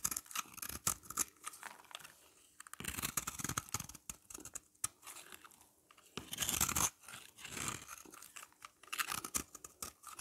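A hand-held, solid yellow bar of dry soap is scraped and shaved with a utility knife blade, sending crumbly powder falling off. Quick, dry, bright scratching and crunching strokes repeat throughout, with longer, denser shaving passes around three and six and a half seconds. The scraping stops sharply between strokes, with brief quiet gaps.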